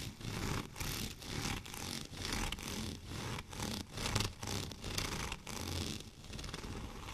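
Fingernails on both hands scratch the studded surface of a white plastic rolling pin lying horizontally. Dense, bright, gritty scratching comes in uneven rasping bursts, with a low rumble underneath that continues throughout.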